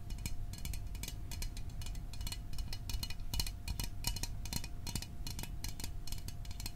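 A small hollow Fanta orange aluminium drink can is held in the hands and moved near the microphone while fingernails tap its sides. The result is a rapid, steady run of short, bright metallic ticks over a deep low rumble, with each tap fading almost at once.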